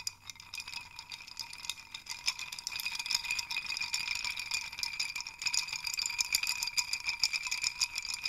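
Fingers grab and shake a wooden hanging chime rattle, a wooden dowel hung with small wooden sticks, so the pieces knock against each other. The result is a dense, continuous clatter of short, dry, bright clicks with a faint hollow ring and almost no low end. It starts softer and grows busier and louder after the first couple of seconds.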